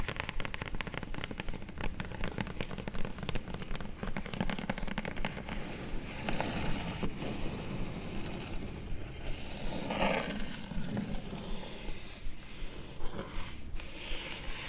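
Long nails tap and scratch across the top of a flat, hollow, closed kraft-brown corrugated cardboard mailer box, then move to its top edge. The result is a quick, uneven run of dry, hollow taps mixed with rough scraping and crackly rustling, with a low, papery thud under the brighter scratches.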